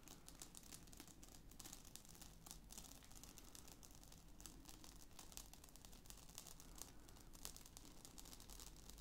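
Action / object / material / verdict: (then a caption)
tap / padded nylon fabric CD wallet / nylon fabric / none. Fingertips and nails of both hands tap and scratch the top of a closed, medium-sized black padded nylon/fabric zip-around CD wallet lying flat on a table. The result is a quiet, steady stream of soft crinkly scratching and light patter, with a bright hiss over a low hum.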